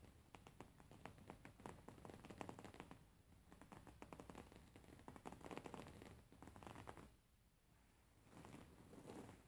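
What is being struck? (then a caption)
Embroidered linen pillow. Fingernails tap and scratch the surface of a beige embroidered linen pillow with stitched fabric. Quiet, quick, crackly ticks and scrapes come in dense bursts, with softer, brushing stretches between them. The sound stays mostly low and dull, with little bright content.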